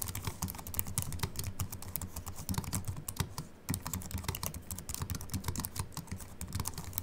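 Continuous fingertip typing with both hands on a slim Apple Mac keyboard with an aluminium body and white plastic keys. A rapid, steady stream of short, dry key clicks, each with a soft low thud and a bright tick, pauses briefly at about 3.5 seconds before resuming.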